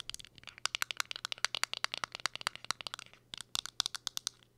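Long acrylic nails rapidly tap and scratch a small round powder or blush compact with a clear plastic window lid and a silver metal-look rim, held up in the air. About 30 sharp, bright clicks and ticks sound in quick irregular bursts, each dry and instantly damped with no ring, with a brief pause just past the three-second mark.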